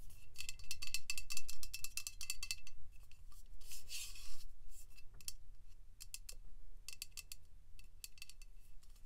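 Long pink nails tap and click on the body of an upright Dove aluminium aerosol deodorant can and near its pink plastic cap. Quick bursts of sharp, bright, metallic clicks come in uneven clusters, with a brief scratchy rub in the middle.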